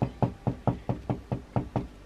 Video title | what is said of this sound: RECETTE de PAIN maison FACILE ( sans robot , ni machine ) - FamilyRoss | si ça sonne creux c'est que c'est cuit à l'intérieur